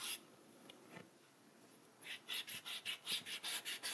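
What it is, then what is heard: Eraser rubbing a paper page. A white rubber eraser, held in fingertips with red-painted nails, rubs back and forth across the paper page of a spiral-bound sketchbook lying on a table. The page carries a drawn ink spiral, and the eraser is removing pencil marks. After a brief rub and a quiet pause, about ten quick, evenly paced strokes produce a bright, dry scratching whisper.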